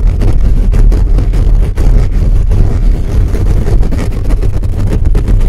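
Fingertips scratch and tap rapidly on the top of a hollow black metal mesh microphone grille. The result is a loud, continuous stream of boomy, rumbling thumps and rubbing, with almost all of the sound deep in the low end and no bright highs.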